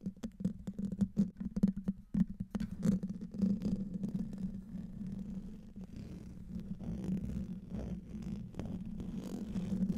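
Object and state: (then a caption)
Metal mesh microphone grille being scratched. Fingertips and nails scratch the top of a silver condenser microphone's hollow metal mesh grille. A dense, close low rumble with a steady hum near 195 Hz runs throughout, broken by sharp, quick taps and clicks in the first few seconds. It then settles into a continuous, softer scratching rustle.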